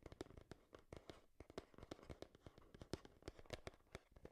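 Long nails tap quickly on a hollow, hand-sized printed cardboard Game Boy retail box held beside the microphone. The result is a dense run of short, dry clicks with a low hollow thump and a few brighter snaps, with faint scratching between taps.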